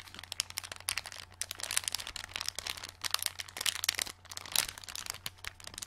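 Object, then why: Thin plastic packet holding small plastic stars. A small, flat, clear plastic packet with a card backing, full of green plastic glow-in-the-dark stars, is held in both hands and flexed and crinkled with the fingers and long nails. Dense, bright crinkling and sharp crackles come in rapid, uneven bursts over a faint, steady low hum.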